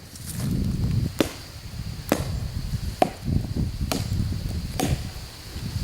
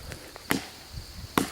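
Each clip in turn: First: hollow base of a dead oak trunk. Second: solid upper trunk of oak tree.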